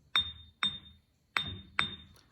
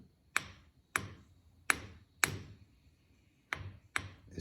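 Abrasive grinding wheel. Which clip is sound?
The first.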